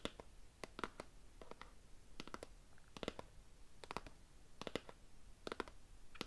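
A small, hollow, rectangular cardboard gift box with a floral paper print and a ribbon is held upright in one hand and tapped and scratched with fingernails. Quick, dry clicks come in short bursts over a soft scratching hiss, each tap dying away almost instantly.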